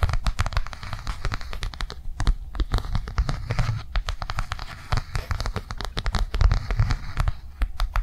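A flat blue soft plastic or silicone cardholder resting on a table is tapped rapidly with long nails. The result is a dense stream of quick, sharp clicks with a soft, low thudding body under them, and each tap dies away almost at once.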